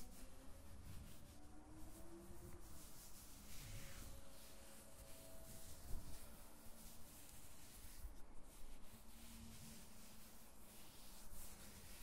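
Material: Nothing is struck.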